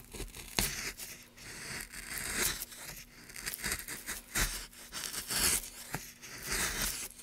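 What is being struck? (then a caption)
Pine wood block. A gouge carves and scrapes along a groove in a solid, light pine wood block. Bright, rasping strokes come in uneven bursts of dry, papery tearing, with a faint low hum underneath.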